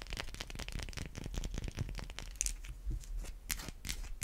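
Long white acrylic nails scratch and tap a solid white rounded bar of soap held in the palm. A rapid string of dry, crisp scratches and short, sharp clicking taps runs throughout, each dying away almost instantly.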